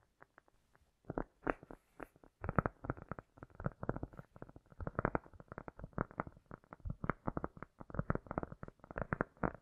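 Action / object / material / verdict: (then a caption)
tap / cork coaster / cork / none. A round, flat, solid cork coaster held on a fur rug is tapped quickly and scratched across its top surface by both hands with long nails, with an echo effect applied. Soft, dull, low-pitched taps and short scratchy bursts start sparse, then become a dense, continuous patter from about 2.5 seconds on. The sound stays muffled and lacks any bright edge.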